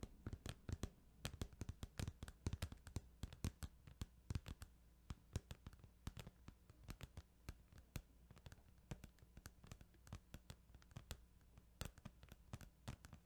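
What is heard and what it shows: Rapid, irregular tapping on a plastic Final Fantasy 8 video game case produces dozens of short, dry clicks with no ring. The taps are quiet and crisp over a steady low hum.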